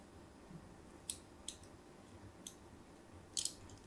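A craft blade scores lines into a solid white embossed bar of soap as it is turned in the hand. Several short, bright scratching cuts stand out over a low, steady background hiss, with the last two landing close together.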